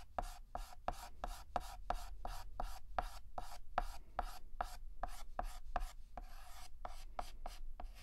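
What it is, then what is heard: Chalk shading on a chalkboard. Fingertips hold a stick of yellow chalk and shade a petal on a flat, solid black chalkboard with rapid, short back-and-forth scratches. Each stroke is a brief, dry scrape with a faint squeaky tone around 720 Hz and a bright hiss, repeating in a steady rhythm over a low background rumble. Near the end, one stroke drags out longer into a smeared scratch.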